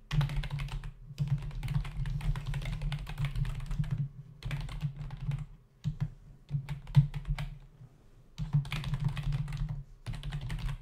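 Both hands type on a black plastic membrane computer keyboard resting on a desk, its plastic keys tapped with the fingertips against the hollow body. Bursts of quick, soft keystrokes come with a low, hollow thump and faint bright clicks, broken by brief pauses.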